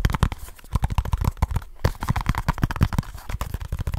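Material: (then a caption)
Cardboard. A small kraft cardboard product box, held in both hands, is tapped quickly with the fingertips and scratched with the nails. The result is a rapid, uneven run of short, dull, low thumps with faint scratchy rustling between them and a brief pause partway through.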